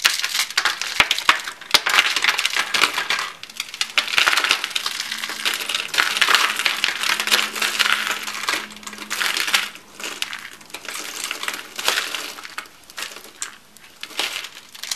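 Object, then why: Soap shavings. Hands with blue-painted nails squeeze and crush a hand-sized coil of thin, dry, peach-coloured soap shavings, then crumble the flakes over a white wooden table. The result is a dense, irregular run of dry, bright crackling and crunching, with quick ticking snaps that die away almost at once. Brief quieter gaps fall between the bursts.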